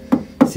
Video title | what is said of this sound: Dayi e-odin pro 2.0 10Kw : unboxing, montage et premières impressions | c'est très très rigide ça sonne très très clair